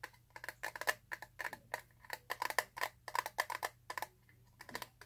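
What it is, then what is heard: Plastic eyeshadow palette. A small, flat, mostly solid clear plastic eyeshadow palette case is held in the hands and tapped rapidly with fingernails. About 26 short, dry clicky taps come in quick uneven bursts, each dying away almost instantly with a bright plastic tone near 1.8 kHz.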